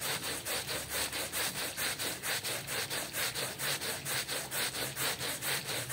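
A small, dark, patterned woven rug covered in foam is scrubbed with a small hand brush by yellow-gloved hands. The steady back-and-forth strokes make a bright, wet, bristly rasp that rises and falls in an even rhythm, a little more than two strokes per second.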